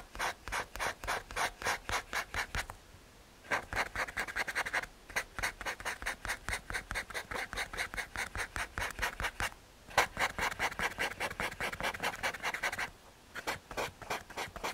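A paper blending stump is rubbed over a graphite drawing resting on a small, flat, solid brown MDF/hardboard panel. Rapid, even back-and-forth strokes make a bright, dry, scratchy rasp with almost no ring. They come in long runs broken by brief pauses near 3, 10 and 13 seconds.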